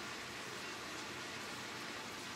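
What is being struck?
Nothing is struck.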